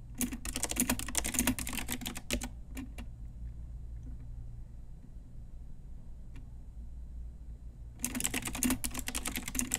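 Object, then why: Plastic mechanical keyboard. Long nails and fingertips tap the keys of a full-size pink Ajazz mechanical keyboard, a retro typewriter-style board with round plastic keycaps on a hollow plastic case. Fast runs of bright, clicky plastic clacks fill the first two and a half seconds, followed by a few isolated taps and a long lull over a low hum. A second burst of rapid typing starts near the eight-second mark.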